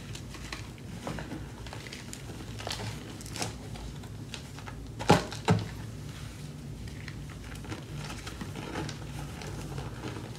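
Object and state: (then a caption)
Crumbling gym chalk. Two hands with long yellow-green nails squeeze, crush and rub pinkish-white gym chalk (magnesium carbonate) chunks and powder in a white plastic tub, so the chalk crumbles through the fingers. A steady soft, low crunching and crinkling runs throughout, broken by two sharper, louder cracks about halfway through.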